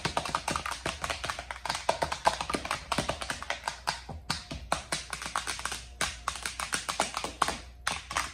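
Long acrylic nails tap quickly on an empty, hollow, large round lime-green plastic divided serving tray, striking its compartment walls, centre bowl and flat sections. The result is a rapid, uneven stream of short, dry, bright clicks that die away almost instantly, over a faint steady low hum.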